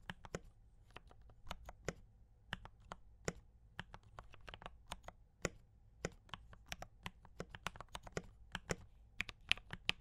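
A compact mechanical keyboard with brown switches and cream and red plastic keycaps is typed on continuously with both hands' fingertips. The result is a steady stream of short, crisp clacks with bright attacks and almost no ring over a faint low hum.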